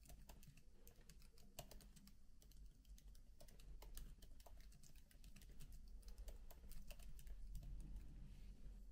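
Both hands type continuously with the fingertips on the black plastic keys of a MacBook laptop keyboard with an aluminium body. Soft, quick, unevenly spaced key clicks with bright edges sit over a steady low hum.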